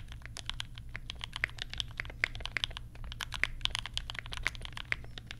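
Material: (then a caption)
Plastic. Fingertips of both hands type steadily on a compact 60% mechanical keyboard with Banana Split switches, pastel plastic keycaps and a lavender case. The result is a fast stream of short, bright, clacky taps with no ring, over a steady low hum.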